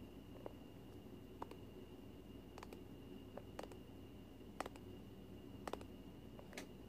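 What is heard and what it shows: A small cylindrical plastic tub of Flarp noise putty with a printed label, lid on and presumably full, is held in both hands and tapped with long fingernails close to the microphone. Quiet, sharp, irregular clicky taps sound over a steady low hum and a faint constant tone.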